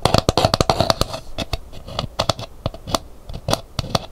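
An empty, hollow, dried painted calabash gourd bowl is held and then set upright while long nails scratch its rim and outer shell, then its painted hibiscus interior. The result is a quick run of dry, crisp clicks and scratchy taps with a hollow low body and bright edges. Each one dies away almost instantly, fast at first and then sparser.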